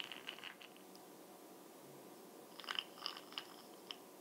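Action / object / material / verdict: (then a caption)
tap / small plastic makeup jar lid / plastic / none. Fingernails tap the top and side of the brown glossy plastic lid of a small, hollow Bronze Booster makeup jar with beads inside. Two bursts of quick, light, clicky taps come through, one at the start and a longer cluster near the end, separated by a quiet stretch. The taps are bright and dry around 3 kHz and fade almost at once.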